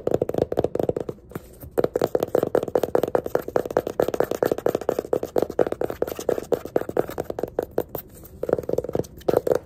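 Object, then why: Small hardcover paper sketchbook. Fingertips and nails rapidly tap and scratch the pink page edges and cover of a small yellow hardcover paper sketchbook lying on its side. The result is a dense stream of short, dry, papery taps centred around a mid-range tone, with brief pauses near 1.3 and 8.5 seconds.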